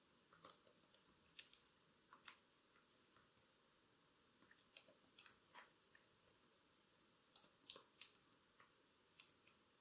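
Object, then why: Plastic laptop keyboard keys tapped with long acrylic nails. Very long, curved black acrylic nails type and tap on the plastic keys of a silver-bodied laptop keyboard, with the wearer wearing bracelets. About sixteen quiet, sharp, bright clicks come in irregular bursts over a faint steady hiss. Each click dies away almost instantly.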